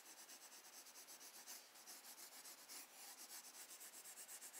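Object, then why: Graphite pencil on a paper sketchbook page. A graphite pencil held in the fingers strokes, rubs and shades across a recycled-paper page of a spiral-bound sketchbook lying flat on a wooden desk while drawing a bird. The result is quiet, bright, scratchy rasping with a loose rhythm of about four strokes per second and almost no low end.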